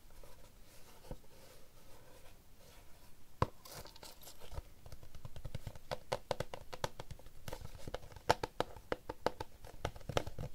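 A small, rigid, hollow yellow Panini cardboard trading-card box for NBA Top Class 2023-24 basketball cards is held in both hands and tapped on its lid and sides with fingertips and short nails. The taps are short, dry and hollow, with a low thud and a mid knock. They start sparse over a faint crinkly rustle and grow quicker and denser in the second half.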